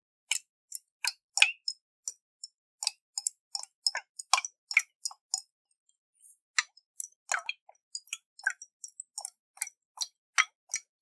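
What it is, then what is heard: Glass jar with water. Fingernails tap a round, hollow glass jar with a metal lid and water inside while it is tilted in the hands. Around thirty short, bright, dry clicks arrive in an irregular rhythm, with almost no low end and very little ring after each tap.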